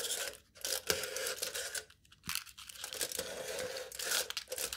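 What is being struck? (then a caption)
Aluminium foil stretched over a cup. Aluminium foil stretched taut over the top of a hollow cup is poked and torn with the tip of a knife. Bright, crinkly tearing and crunching bursts run through the clip, with a steady mid tone near 430 Hz underneath and brief quiet gaps around half a second and two seconds.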